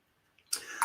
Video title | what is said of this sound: CanCan AUCTION 8PM EST #morgans #silver #coins #livemusic #liveauction #cancancollectibles #fun | you can kind of shake it and hear how it shakes around a little bit in there